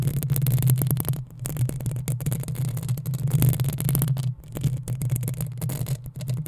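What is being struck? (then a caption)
Metal mesh microphone grille. Long acrylic nails on both hands scratch the hollow metal mesh head of a black desktop USB microphone. The result is a rapid, continuous run of scratchy strokes with a heavy low rumble and bright, crackly edges. Two brief quieter gaps break up the texture.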